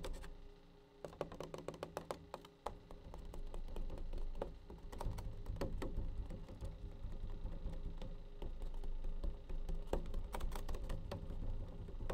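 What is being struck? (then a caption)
Plastic bleach tray. A plastic bleach tray is tapped with quick, light, uneven taps that sound like clicky patter. The taps come in scattered bursts over a low, steady rumble, with short gaps between runs.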